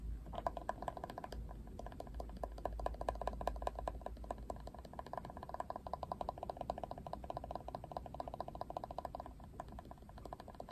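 Fingernails scratch and tap the hard plastic ridged back and black Barbie handle of a plastic Barbie paddle brush held sideways. The result is a quiet, dense stream of rapid dry clicks and scrapes with a steady mid-pitched rattle over a low hum. The rattle fades out shortly before the end.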